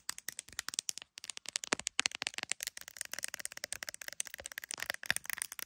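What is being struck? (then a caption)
Smartphone in a hard plastic case. Long nails tap and scratch the camera lenses and clear plastic case of an iPhone decorated with gummy bear charms. About 36 quick, dry, bright clicks and scratchy ticks come in rapid uneven bursts, each dying almost instantly. There is no low-end body and only a brief pause near the one-second mark.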